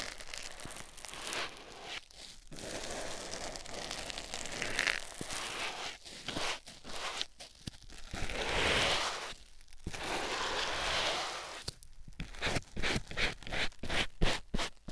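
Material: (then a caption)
Foam. A white rectangular foam sponge block, held in the fingertips, is pressed and rubbed on a silicone ear microphone. This makes close, crackly rustling and crinkling with soft scratchy swells and brief quiet gaps. The rubbing comes in an uneven rhythm and ends in a quicker run of short strokes.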